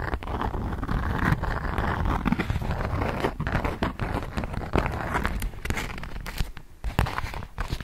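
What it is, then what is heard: Beeswax-coated cotton food wrap being crinkled. A polka-dot beeswax-coated cotton food wrap sheet is held and folded with both hands in front of a microphone, crinkling the stiff waxy fabric. The result is a steady, low-heavy rustle with many quick, irregular crackles and crunches throughout.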